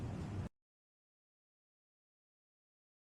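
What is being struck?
Nothing is struck.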